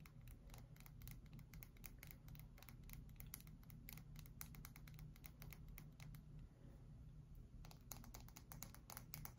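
A pale cream, palm-sized solid bar of soap held in both hands is tapped and scratched with long white acrylic nails. Rapid, quiet, dry clicks and light scratches run almost continuously over a steady low hum, pausing briefly near the six-second mark before resuming.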